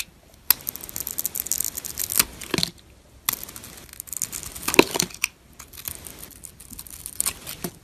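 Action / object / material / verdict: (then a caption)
scrape / bar soap with glitter coating, scraped by a metal blade / soap / none. A metal blade repeatedly scrapes and shaves the surface of a solid white bar of soap, held in fingers, whose silver glitter coating is partly removed. Bright, dry, crackly scraping bursts come in irregular runs, separated by brief quiet pauses, with almost no low end.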